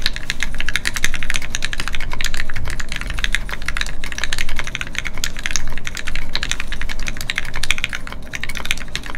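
Fingertips of both hands type continuously on a Keycult No2 Rev1 mechanical keyboard with Gateron Ink switches and red plastic keycaps, resting on a desk mat. A steady stream of short, sharp clacks with bright high clicks rides over a constant low hum, each keystroke dying away almost instantly.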